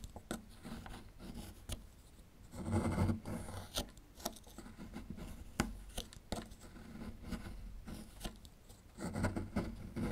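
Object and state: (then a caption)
Plaster excavation block being scraped. A small metal chisel tool scrapes and picks at a small solid plaster fossil excavation block near a dinosaur relief. Gritty scraping passes swell in bursts, mixed with sharp dry ticks and clicks from the tool tip. The sound stays close, low and dull with little ring.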